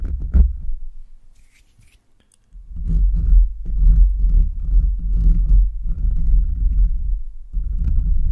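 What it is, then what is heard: Metal microphone grille being scratched. Short nails and fingertips quickly scratch the bare, hollow metal mesh grille of a microphone, producing deep, boomy rumbling and scraping bursts. A brief quiet gap separates an opening flurry from a longer stretch of dense, fast scratching.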